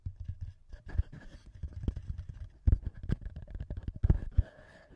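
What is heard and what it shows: Both thumbs and fingertips tap and rub the heads of the two small metal microphone capsules on a TASCAM handheld recorder. The result is a quick run of close, bassy thumps and dull knocks with soft rubbing between them, all heavy in the low end. A few taps land noticeably louder than the rest.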